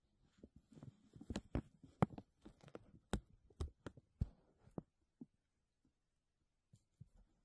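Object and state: Crinkled textured plastic bag.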